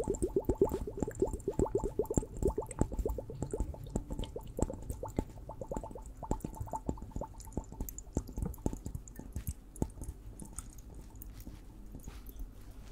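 A liquid-filled water hourglass is tapped rapidly, giving many short, dull taps with a low, muted body and a faint bright tick on top. The tapping is dense and fast at first, then thins into sparser, softer taps.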